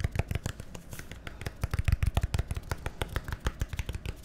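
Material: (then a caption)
Plastic. A small, hollow, labeled plastic bottle or tub with a green cap is held in the hand and tapped and scratched with fingernails. A quick, uneven run of short, dry, low hollow thuds follows, mixed with faint scratchy ticks, each sound dying away almost instantly.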